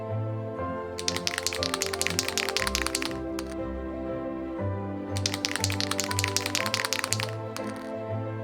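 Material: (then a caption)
Metal. A metal spray paint can is shaken in two bursts, its mixing ball rattling and clicking sharply inside over steady background music. Each burst lasts about two seconds, with a brief pause between them.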